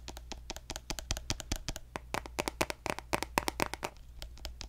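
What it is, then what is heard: Plastic squeeze tube. A hollow pink plastic lotion tube with a gold cap is tapped quickly with fingertips and nails close to the mic. The result is a rapid, uneven run of short, dry, crisp clicks with bright edges and almost no ring, over a steady low hum.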